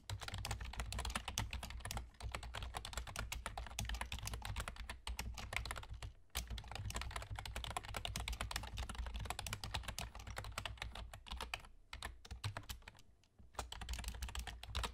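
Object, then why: Plastic computer keyboard. Rapid tapping of a full-size black plastic computer keyboard with German key labels and hollow keys, typed on with the fingertips of both hands with short nails. Dense clicking clatter runs in bursts with brief pauses near 2, 6, 12 and 13.5 seconds, over a steady low hum.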